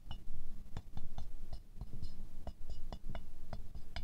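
A wooden stick taps quickly down into the centre petals of a small silver-glazed ceramic rose figurine, making a rapid run of short, bright clinks. Each tap dies away almost at once over a steady low rumble.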